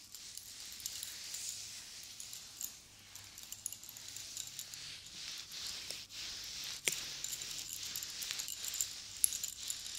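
Long blue nails tap, stroke and jiggle the metal cone spikes on a silver chain necklace. The result is a steady, quiet, bright jingling and clinking, with occasional sharper clicks standing out.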